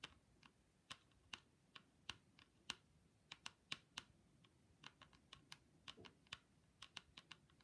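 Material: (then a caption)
Hard plastic. Long pointy pink acrylic nails on gloved hands tap and click on hollow, hand-sized ski goggles with a hard plastic mirrored lens in a grey plastic frame. About 23 sharp, bright clicks come in an uneven rhythm, each dying away almost instantly with little low end.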